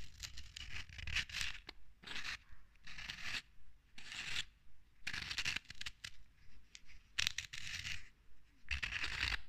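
Long red acrylic nails scratch the ridges and top of the silver metal screw cap on a filled, medium glass or clear plastic bottle of green bath product, while the other hand holds the bottle. Irregular bursts of bright, dry rasping and scraping come and go with short quiet gaps, over a soft low rumble.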